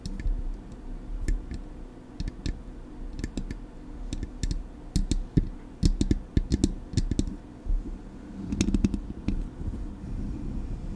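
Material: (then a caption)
Metal. Long acrylic nails tap on the metal body of a Blue Yeti microphone, then move to its grille. The result is a run of sharp clicks over a low, boomy thump, with a denser cluster of taps near the end.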